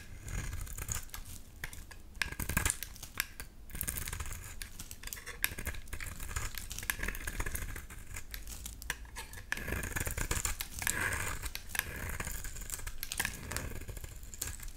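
A utility knife blade shaves a solid, light pink oval bar of soap, with the flakes piling up. Dense, rapid scraping strokes make a crisp, bright rasping and crackling over a low rumble, with brief sharper scrapes standing out now and then.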